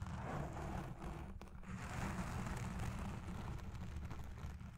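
Long red nails and fingertips of both hands scratch and pinch a black foam windscreen dome on a Blue Yeti Pro microphone. The result is a steady, dense, muffled crackling rumble, mostly deep and low, with faint brighter scratchy textures over it.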